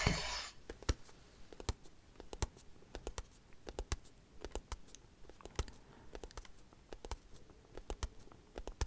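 Long acrylic nails tap and scratch a small, closed white cardboard product box with a hanging tab. After a brief burst of scratchy broadband noise, a steady run of quick, sharp clicks and light taps follows over a soft, papery scratching texture, each tap bright at the top and dying away fast.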